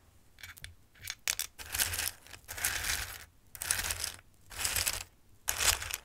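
A hand picks at and stirs a bowl of hard, dry raw pasta shapes with its fingertips. A few quick small clicks come first, then a run of bright, dry clattering and rustling bursts as the pieces shift against each other, with short pauses between.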